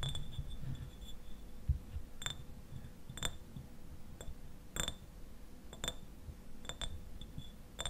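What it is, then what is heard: Glass bottle, partly filled. Fingernails tap on a clear glass eyewash bottle, partly filled with liquid and standing upright, striking both the glass and its paper label. Sharp, bright clinks come at irregular intervals and die away almost instantly, over a steady low rumble and faint hiss.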